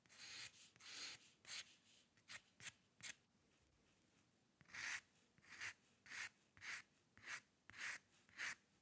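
A metal dip pen nib scratches white drawing paper in about fourteen short, repeated strokes. Each stroke is a bright, dry, raspy scrape with almost no low end. The strokes stop cleanly between them, with a brief pause near the middle.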